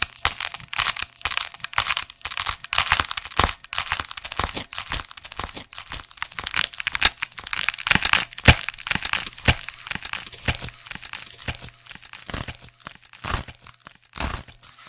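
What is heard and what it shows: A hollow, flexible black neoprene/foam fabric sleeve is held in one hand and scratched and squeezed with fingertips close to the microphone. Dense, irregular crackling and crinkling scratches come in quick, sharp bursts, mostly bright and hissy with little low end. A faint steady low hum sits underneath throughout.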